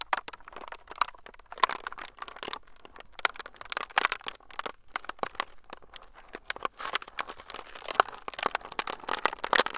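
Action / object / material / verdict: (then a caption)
scrape / clear plastic film sheet / plastic / none. A clear, transparent plastic film sheet is squeezed and crinkled between fingertips above the recorder. The result is a dense, continuous stream of sharp, bright crackles and crinkles with almost no low end, building in intensity toward the end.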